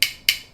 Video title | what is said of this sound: How do TONGS help toddlers TALK?! - Tips from a Speech Therapist | kind of like a click clack snap kind of sound it sounds metallic